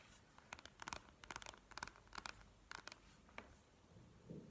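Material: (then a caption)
Plastic. Long nails tap and scratch on a plastic gel-bead eye mask lying flat on a table. About a dozen quick, bright, clicky taps come in small clusters, each dying away almost instantly, over a faint scratchy hiss. A soft, duller rustle closes the clip.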